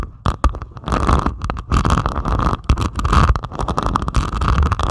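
Long pointed acrylic nails scratch across the beaded surface of a flat diamond painting made of plastic resin drills on canvas. The result is a dense, continuous crackling scrape with rapid small clicks and a heavy low rumble underneath.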